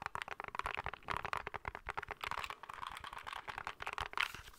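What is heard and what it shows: Fingertips and nails tap and scratch the edges and top side of a small, hollow, grey plastic handheld game console. Quick, dry, clicky taps blend with scratchy rustling, mostly in the mid and high range with almost no low end. Each tap cuts off at once with no ring, and a brighter burst of scratching comes near the end.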